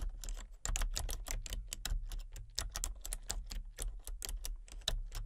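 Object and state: Plastic computer keyboard being typed on.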